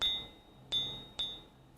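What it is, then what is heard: Solid hand-forged steel blade. A hand-forged steel blade is struck three times, each strike giving a bright, high ringing clink near 3.7 kHz that fades within a fraction of a second. The blade sounds solid.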